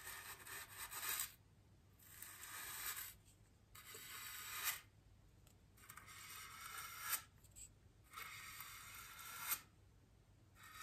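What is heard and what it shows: A bristle paintbrush, held by a hand with long green nails, is rubbed and brushed over a large solid white polystyrene foam wreath ring. Repeated soft, bright, scratchy brushing strokes are heard, each rising and ending with a light tick, separated by quiet pauses.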